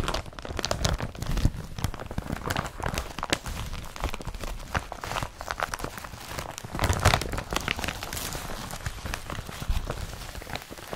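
A blue woven polypropylene IKEA BRATTBY carrier bag is scratched with fingertips, then the bag and its straps are crumpled by hand. The result is a steady stream of dense, dry crinkling and crunching, with sharp rustling bursts that reach bright highs over a low rumble of handling.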